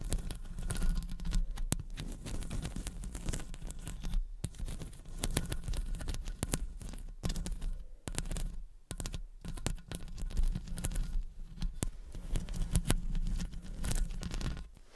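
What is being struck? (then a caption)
Metal mesh microphone grille. Long acrylic nails scratch around and tap the metal mesh grille of a studio condenser microphone. A dense, continuous scratching and rasping fills the clip, broken by sharp taps and brief quieter gaps, with most of the energy in a heavy low rumble close to the mic.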